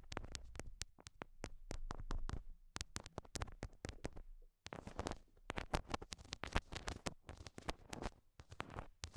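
Long glossy nails tap on small, solid heart-shaped stickers covered in pink rhinestones, which are stuck onto the translucent silicone ear pieces of a binaural mic. The result is a fast, uneven run of short, dry taps, each a deep, muffled thump with a bright click on top, that stops briefly midway and then resumes.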